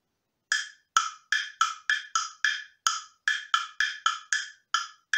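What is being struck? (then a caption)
Wooden tubular tone block struck with a wooden beater. A light, hollow, slotted wooden tubular two-tone block on a wooden handle is tapped 15 times with a small round-headed wooden beater at an uneven pace. Each tap gives a dry, hollow clock with a pitch around 1.3 kHz and bright upper overtones, dying away almost instantly.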